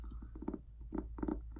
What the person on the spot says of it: I love the sound this makes when I tap on it